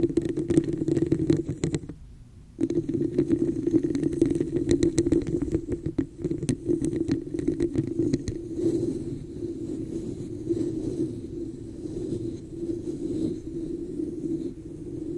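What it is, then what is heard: Plastic cup scratched and tapped over a microphone. Long nails scratch and tap the sides of a hollow red plastic cup with an embossed pattern, held over the microphone. Rapid clicking taps and scraping ride on a hollow, boomy resonance that pauses briefly near the 2-second mark, then settles into steadier, softer scratching toward the end.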